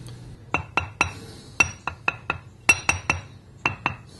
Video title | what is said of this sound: Ring Testing Grinding Wheels | notice how dead the sound is there's no ring to it